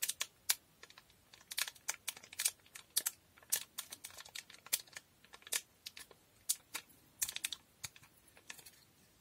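Long nails tap and scratch the surface of a small sealed blue foil Durex condom packet. About thirty quiet, very short, bright clicks and crinkly scrapes come at an irregular pace with almost no low end. Each one cuts off instantly into near silence.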